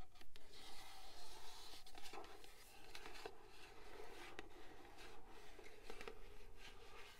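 Long pink nails tap and scratch the flat sides of a tall, rigid, hollow purple cardboard gift box with a printed pattern, held in both hands. Soft, dry scratching and rubbing mix with light, irregular taps that die away almost at once over a low, steady rumble.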